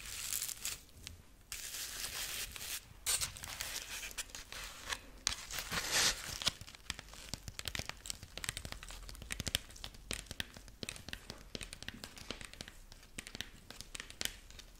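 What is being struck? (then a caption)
Corn husk rabbit figurine. A dried corn husk rabbit figurine is handled and scratched with long nails along the dry husk strips of its body. The result is a bright, crisp crinkling and tearing-like scratching made of dense, rapid, dry clicks and rustles, with little low-end weight.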